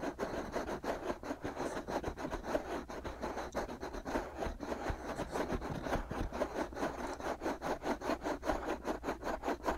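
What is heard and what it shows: Fingertips and short nails cup, rub and scratch the two soft, hollow, white silicone ear-shaped pieces of a binaural microphone. The result is a close, steady run of scratchy rubbing strokes, about two and a half per second, centred in the mids with soft low thumps beneath.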